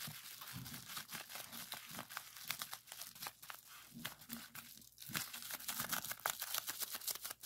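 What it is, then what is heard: Plastic bubble wrap being popped. A clear plastic bubble wrap sheet with hollow bubbles is pressed, folded and twisted by hand to pop its bubbles. Dense, bright crinkling is broken by many sharp, quick popping snaps. The pops come in irregular bursts throughout, each cutting off almost instantly.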